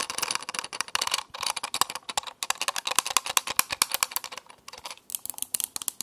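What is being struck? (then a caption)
Small metal alarm clock. A small round alarm clock with a grey metal-looking case and a glass or plastic face, held in one hand, is tapped and scratched around the rim and face with long painted nails. Fast, crisp clicking taps and light scratches come in a dense, uneven stream, with bright, dry hits that die away instantly and carry almost no low end.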